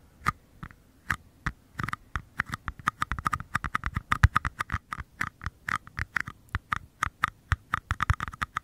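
Two identical small, empty, hollow paper cups are held close and tapped and scratched on their bases with fingertips and short nails. Quick, dry taps with a hollow papery knock and a bright click follow one another in an uneven patter, each dying away almost at once.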